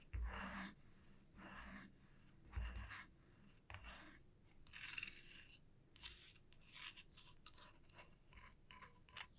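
Long nails scratch and rub along the body and teeth of a solid light-wood, wide-tooth comb that is lifted slightly and held in both hands. Bright, dry rasping strokes come in bursts, starting as longer scrapes and turning into quicker, shorter scratches toward the end.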